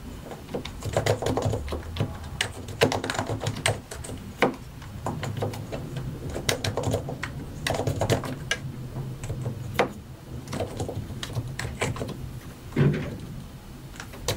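Both hands tap with their fingertips on a compact white and grey mechanical computer keyboard with a hollow plastic case and plastic keycaps. Irregular bursts of sharp, bright plastic clicks and clacks sound in quick succession, with a few louder keystrokes standing out. A steady low hum runs underneath throughout.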